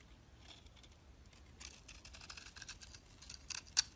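A utility knife blade scrapes layered flakes off the face of a solid cream bar soap held in the hand. Soft, dry, bright scraping strokes crackle faintly at first, then grow denser and a little louder, ending with a sharper crisp scrape near the close.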